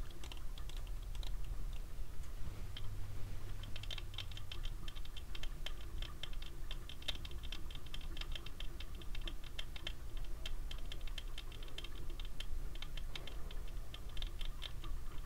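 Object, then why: Plastic sunglasses frame and lenses. Fingertips tap the frame and dark lenses of small black plastic cat-eye sunglasses worn on the face, making a long run of quick, light plastic clicks with a bright, brittle edge. The taps come in uneven bursts over a steady low hum.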